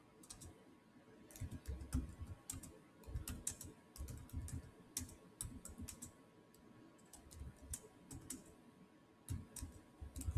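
Fingertips type fast on the solid, black plastic chiclet keys of a silver Samsung laptop keyboard. Quiet bursts of quick, dry taps, each a soft low thump with a bright short click, come in uneven runs separated by brief pauses. A faint steady tone hums underneath.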